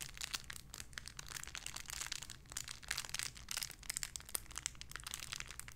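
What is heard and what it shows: A small clear plastic bag holding a pink paw squishy toy is crinkled and squeezed with fingertips. The result is a continuous run of bright, crackly crinkling with many quick sharp spikes and a faint low hum underneath.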